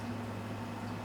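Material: Nothing is struck.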